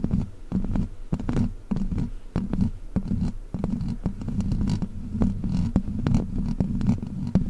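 Long black plastic witch-finger claws scratch across the hollow metal mesh grille of a large silver microphone. The result is a continuous low, throbbing rumble centered around 190 Hz, broken by many quick, sharp scrape-clicks.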